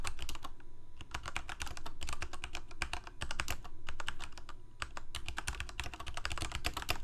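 Both hands type rapidly with their fingertips on a full-size black plastic Corsair K68 mechanical keyboard with Cherry MX Red switches and blue backlit keycaps, resting on a white desk. A dense, steady stream of short, bright key clacks dies away almost instantly over a low, rumbling base, with a faint steady tone underneath for much of the clip.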